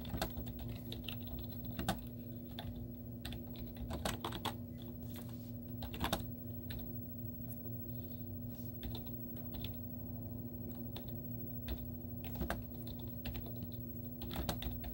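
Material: Plastic.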